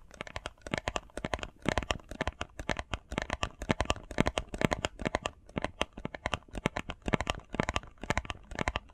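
Fingernails tap and scratch quickly on a small, hollow, printed cardboard face mask box with Sonic artwork on one side. The result is a dense run of short, dry clicks with a hollow low thump and bright, scratchy edges, each tap dying away almost instantly.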